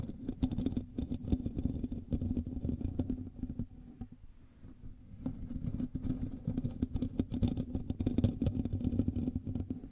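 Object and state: Metal mesh microphone grille being scratched.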